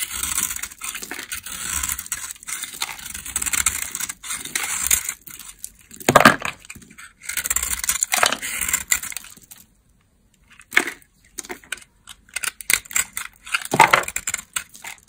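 A metal blade shaves and scrapes flakes and crumbs off a solid, palm-sized amber bar of dry laundry soap held in one hand. The result is dense, dry, crackling scraping with a bright, gritty hiss in long bursts, punctuated by sharper crunchy cuts and short quiet gaps.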